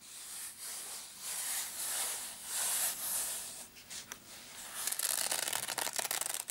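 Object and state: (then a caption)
Nylon padded case scratched. Short blue-painted nails and fingertips scratch and rub the fabric surface of a small, hollow black padded nylon zip case with a Case Logic label, lying on a dark mat. Soft, bright rubbing swells in and out for the first few seconds. It then turns into a quicker run of crisp, scratchy ticks with high hiss and no low rumble.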